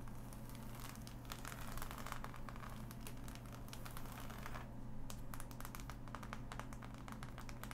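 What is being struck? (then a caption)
Assembled cardboard jigsaw puzzle. Long nails tap and scratch across the glossy pieces of a flat, assembled cardboard jigsaw puzzle. Dense, quick clicks and crinkly scratching come in bursts over a steady low hum, with some brighter ticks standing out near the end.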